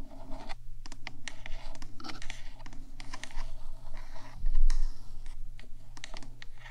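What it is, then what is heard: Metal microphone body scratched and tapped with nails. Long nails on both hands tap and scratch the top of a 3Dio microphone's black, hollow metal box body. Quick, bright clicks and scratchy rasps come over a steady low hum, with a louder stretch of scratching near the middle.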